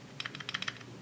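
A cheap plastic multimeter that had been abuse-tested is shaken, giving a quick burst of light, bright clicking rattles over about half a second. The rattle comes from the broken, loose battery inside, after the flattened back of the case crushed the battery post; it is not supposed to rattle, and the meter worked again once the battery was replaced.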